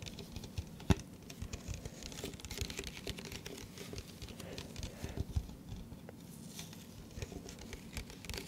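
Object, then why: Clear plastic cup. An empty, hollow, hand-sized clear plastic cup is held up in front of the microphone and tapped with the fingertips and nails around its sides and base. The result is a steady, soft patter of quick, light taps with a dull, low body and faint bright clicks from the nails. A couple of sharper, louder taps stand out near the start and middle, and each tap dies away almost instantly.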